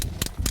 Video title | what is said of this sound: 벚꽃 피면 먹지 말라는 굴. 피 가득 영양 품은 꼬막. #입김 나면 생각나는 겨울 진객 굴, 꼬막 | 싱싱한 것은 차돌 소리가 이렇게 땅땅땅땅 나야 돼